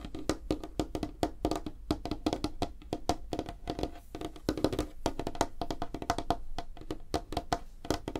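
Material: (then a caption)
Wood. Long fingernails on both hands tap fast across a large, flat, solid light-wood tabletop. The result is a rapid, uneven stream of short, dry clicks with a hollow woody tone around 300 Hz that dies away almost instantly, with a few louder accents among softer taps.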